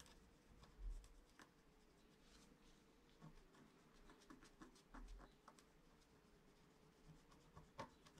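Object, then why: Wax-coated scratch-art card scratched with a wooden stylus. A wooden stylus held in the fingers scratches lines into the black coating over foil of a flat A4-size scratch-art card made of wax-coated paper, lying on a cloth-covered table. Quiet, dry scratching strokes come in short bursts over a soft low rumble, with a faint steady hum in the midrange. Each stroke fades almost at once.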